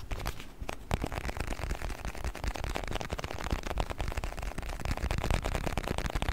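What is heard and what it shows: A small round clear plastic container with a blue lid, partly filled with orbeez, is shaken by hand and then held close and tapped with fingertips. It makes a dense, continuous stream of short, sharp clicks and soft rattles with a heavy low-end thump. The clicks stay fairly even in level throughout.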